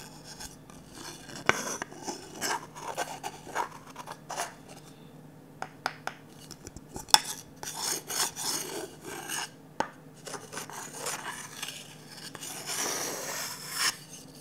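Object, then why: Varnished wooden ladle scraped with a wooden stick. A wooden stick scrapes slowly along the empty bowl of a glossy orange varnished wooden ladle. Irregular bright, rasping scrapes are broken by a few sharp clicks, over a faint steady low hum.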